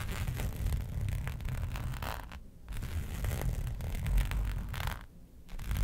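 Long nails scratch and rake across a flat black embossed hexagon-pattern faux leather sheet resting on a fur rug. The result is a steady, dry, raspy scratching with a heavy low rumble, broken by two brief quieter pauses before the raking resumes.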